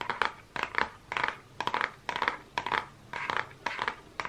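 Fingernails tap and scratch the cover of a closed Focallure makeup palette, a small, flat holographic-printed cardboard case. Short, dry bursts of clicky taps and papery scratching come in uneven clusters about every half second, centered around 1 kHz with bright edges and almost no low end. Each sound dies away almost instantly.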